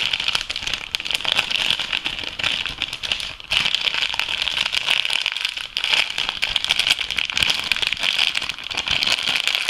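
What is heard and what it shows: A clear, thin, empty plastic packaging bag from an organic food product is held and crumpled between fingertips and painted nails. It gives a dense, continuous, bright crinkling crackle with almost no low end, dipping briefly around the middle before resuming just as busy.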